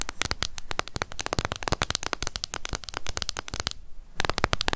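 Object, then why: Small plastic cushion foundation compact. Long nails tap fast on the lid of a closed, small, hollow pink plastic cushion foundation compact. The result is a rapid stream of sharp, dry, bright clicks with almost no ring, broken by a brief pause near the end before the tapping resumes.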